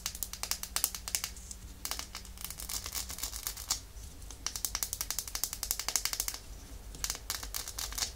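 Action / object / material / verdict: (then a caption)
tap / small glass nail polish bottle / glass / none. Long nails tap and scratch along the glass body of a small, full red glass nail polish bottle held sideways. The result is rapid bursts of sharp, bright clicks and short scraping ticks, separated by brief pauses, over a faint steady low hum.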